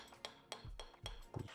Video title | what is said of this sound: Crash Damaged Trek – Visual Check by a Bike Mechanic | tap it and you listen for a changing tone on the carbon